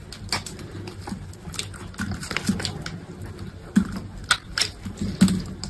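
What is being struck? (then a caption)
Bar of soap cut with a knife blade. A solid green bar of soap held in hand has slices cut off it with a utility knife blade. Irregular, crisp scraping and snapping cuts with bright edges sound over a low, steady hum, and a few sharper, louder strokes stand out toward the end.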